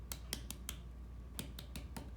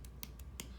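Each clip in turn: First: Eight short, dull finger taps on a clay bowl bottom; the deeper, fuller tap marks a thin spot. Second: Quick, dull clicky taps with no ring, the flat thud of a thick leather-hard clay bowl bottom.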